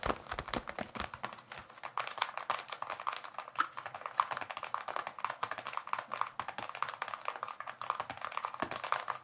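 Fingertips and nails rapidly tap and scratch the leather cover of a solid, hand-sized baseball with red stitching, held up in both hands. The result is a steady stream of quick, dry, soft taps centered around 1 kHz, with almost no low end and very short decay, continuing evenly throughout.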